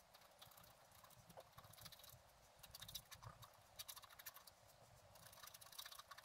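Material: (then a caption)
Coated paper. A wooden stylus scratches small strokes into a flat, black-coated scratch art card resting on a table. Quiet, dry, bright scratching comes in short, clustered bursts over a faint steady hiss.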